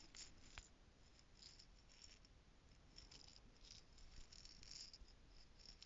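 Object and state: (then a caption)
Plastic jar of loose costume jewels, shaken. A small, clear plastic screw-stack jar, partly filled with loose gold costume jewels, is held in one hand and shaken beside a foam-covered mic. It makes a soft, steady rattle of bright little clicks and chinks over a low, muffled rumble.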